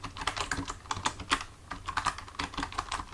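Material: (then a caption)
Plastic. Fingertips of both hands type steadily on a full-size black plastic computer keyboard resting on a desk, the hands staying on the keys throughout. A quick, uneven run of short, dry plastic key clicks sounds, each tap bright and dying away almost at once over a faint low hum.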